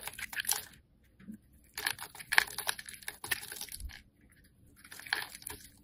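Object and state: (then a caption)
Soap bar being carved. A metal blade carves chunks and cubes off a solid green-yellow striped soap bar held in the hand. Crisp, bright scraping and crunching comes in three short bursts of rapid, dry cuts, separated by near-silent pauses. The cuts stop dead with no ring.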